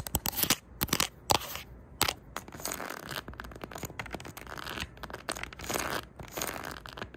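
Long neon-tipped nails scratch and flick across the spines of a tightly packed row of cardboard LP record sleeves on a shelf. The result is a fast run of dry, papery scratches and crisp flicking clicks, bright and crackly with almost no low end, each stroke cutting off instantly with no ring.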